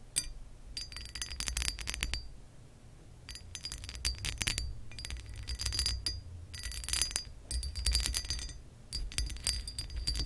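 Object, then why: Embossed glass lamp base. Long acrylic nails tap and scratch across the ridges of an embossed, textured glass lamp base. Dense bursts of quick, bright clicks and scrapes with a faint high glassy ring come in clusters separated by short quieter gaps, over a steady low rumble.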